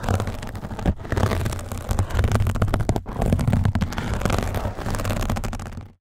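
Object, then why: Nylon mesh scrub sponge. A soft, flexible yellow nylon mesh scrub sponge is held over a microphone while fingertips scratch it with a small blue plastic pick, then rub and squeeze it. The result is a dense, continuous scratchy rustling with a heavy low rumble, broken by brief pauses around one and three seconds before it fades out at the end.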